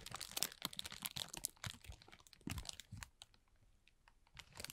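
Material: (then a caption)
Plastic film. A thin, transparent plastic film bag is rubbed and crinkled with the fingertips of both hands, then gathered up. Dense, bright crackling and rustling fill the first three seconds. The sound thins to faint, scattered crinkles, then swells again briefly at the end.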